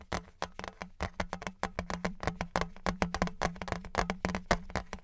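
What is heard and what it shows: A thin, flat metal novelty Patriots license plate, likely aluminum, is held horizontally and tapped with fingertips and nails. It gives a rapid, uneven run of hollow, block-like taps with a short, dry ring. A steady low hum sits underneath the taps.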